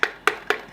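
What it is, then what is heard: Insulated drinking tumbler with a papery tap sound. Three quick taps on a small insulated drinking tumbler made to keep drinks cold. Each tap gives a short, dry, papery knock centred around 1.5 kHz with a little bright edge and almost no ring, fading fast into quiet between hits.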